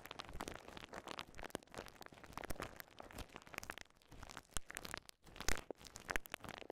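A small ball of clear polyethylene bubble wrap is pressed and popped with thumbs and fingertips. Quiet, continuous crinkling is broken by many sharp, irregular pops, with a few louder snaps near the end.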